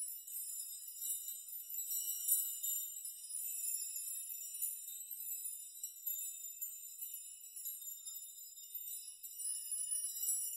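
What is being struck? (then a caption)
Hanging metal nails. Open hands and fingertips push and rock a metal nail chime, many long thin metal nails hanging in rows, so the nails knock together. The result is a quiet, continuous, bright tinkling and jingling, all high, with short-ringing clinks that swell and ease as the nails are brushed and shaken.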